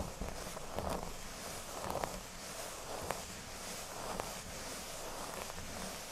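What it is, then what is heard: Cork board being scratched. Fingertips and nails scratch and rub the centre of a large, flat, solid speech-bubble-shaped cork board. The result is a steady, dry, bright rustling scratch with soft low rumble underneath. Slightly sharper scrapes rise out of it about once a second.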